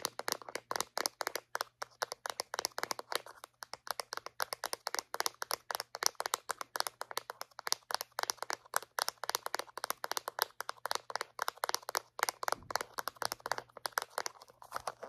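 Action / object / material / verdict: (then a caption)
tap / small hollow plastic floss dispenser / plastic / none. A small white hollow plastic Reach dental floss dispenser, held in hand, is tapped and scratched with long painted acrylic nails. Rapid, dry, bright clicks and taps come in quick irregular bursts with almost no ring, interspersed with soft scratching over a faint steady low hum.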